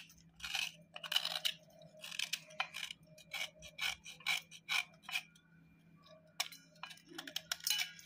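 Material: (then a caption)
Chalky clay. A knife edge is scraped steadily across a hollowed white slate block of chalky clay over a steel plate. The result is a series of crumbly, bright, crunchy scraping strokes with a faint steady low hum underneath.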